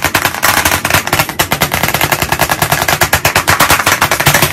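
White chalk sticks held in both hands tap very fast on a medium, flat, solid black chalkboard panel in a wooden frame. About 38 crisp, dry clicks come in a rapid, uneven stream over 4.6 seconds, each dying away almost at once.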